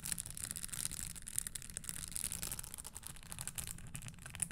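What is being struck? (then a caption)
Leather stiletto pump with metal spikes. Long nails scratch and tap across the studded surface of a red spiked leather stiletto pump held near the mic without touching it. Dense, bright clicks and scrapes sit over a low rumble, with each tap dying away almost instantly.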